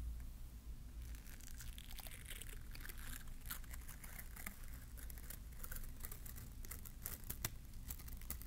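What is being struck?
Plastic bristle bottle-brush tree.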